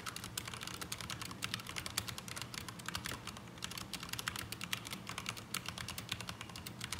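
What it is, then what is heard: Mechanical keyboard with ABS plastic keycaps. Both hands type with their fingertips on a black mechanical keyboard with ABS plastic keycaps resting on a desk mat, then a hand moves away at the end. A steady stream of rapid, bright, clacky keystrokes with very short decay plays over a faint low hum.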